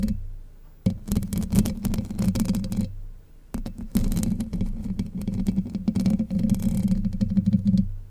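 Long white nails scratch the hollow domed steel mesh grille of a Blue Yeti microphone, producing dense, rapid rasping scrapes with a boomy low hum around 190 Hz. The scratching comes in two long bursts separated by a brief near-silent pause.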